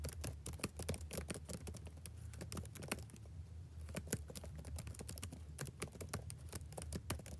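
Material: Plastic.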